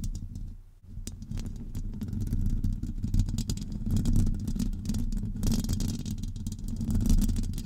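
Long acrylic nails scratch along the sides and front of a hollow metal wire-mesh microphone grille. The result is a dense, continuous low rumbling scrape, broken by frequent crackly clicks. It dips briefly near the start, then holds steady to the end.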